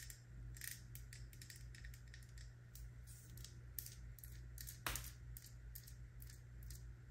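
A medium plastic body-butter jar with a paper label and a gold screw lid, apparently full, is held in the hand and tapped and scratched with long brown nails. Quick, bright clicks and scratchy bursts come in an irregular run over a steady low hum, with one sharper, louder tap near the five-second mark.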